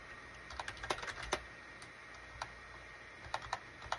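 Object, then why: Plastic computer keyboard. Fingertips type on a full-size gray and cream SHIPADOO K600 wired USB plastic keyboard with a hollow plastic case, resting on a desk mat. About 13 short, bright, clacky keystrokes come in uneven bursts with pauses between them, each dying away almost instantly over a faint steady hiss.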